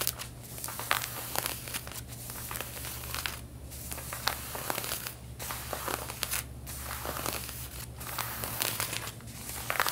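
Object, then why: Denim jeans fabric. Long painted fingernails scratch over the back pockets and seams of worn, stretched light-blue denim jeans. The result is a steady, bright, raspy scratching with quick crackly strokes and brief pauses, over a constant low hum.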